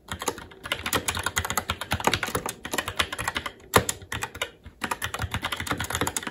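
Fingertips of both hands type continuously on a SteelSeries Apex 7 TKL mechanical keyboard with red linear switches, plastic keycaps and a metal top plate. Rapid, bright clacking keystrokes come in dense runs, with short pauses around the middle of the clip before the typing resumes.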